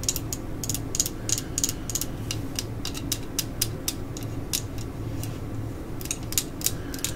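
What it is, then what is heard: Solid plastic screwdriver handle. A solid black plastic screwdriver handle with a red cap, held upright, is tapped and scratched along its length with long acrylic nails. A quick series of crisp, dry, bright clicks and short scrapes sits over a steady low hum, each click dying away almost at once.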